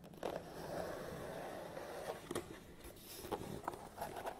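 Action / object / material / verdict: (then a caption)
tap / long cardboard box / cardboard / none. A long, narrow, printed cardboard Hama tripod box lies closed and flat on a table while fingertips and nails of both hands rapidly tap and drum on its top. The result is a quiet, continuous scratchy rustle punctuated by dull, hollow, papery taps in the mid frequencies.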